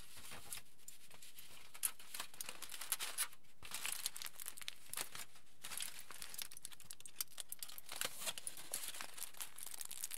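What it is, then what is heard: Aluminium foil sheet. A crumpled sheet of aluminium foil is held upright while fingers squeeze and crinkle it. The result is a steady, dense run of bright, crackly crinkling with many small sharp snaps over a quiet background.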